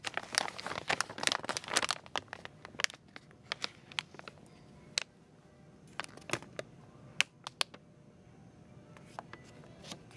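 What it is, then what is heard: Plastic film package of slime tubs. A clear crinkly plastic film package shaped like a blue Peeps bunny, holding a stack of small plastic slime tubs, is squeezed and handled in one hand with long painted nails. The film gives off dense, bright crinkling and crackling for the first two seconds. Sparser sharp crinkles and snaps follow over a quiet background.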